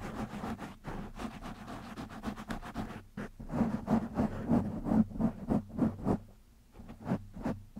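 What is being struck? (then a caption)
Foam microphone windscreen. Fingertips of both hands scratch the black foam windscreen on a microphone. This produces rapid, irregular bursts of scratchy, rustling noise with a low hum around 200 Hz. The scratching grows louder in the middle and eases off toward the end.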